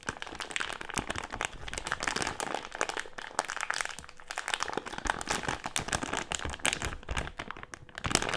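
A medium printed plastic-film Haribo gummy candy bag with gummies inside is crinkled and pressed against a table with fingertips. Dense, continuous crinkling and sharp crackles fill the clip, bright and papery with little low end, at a steady moderate level.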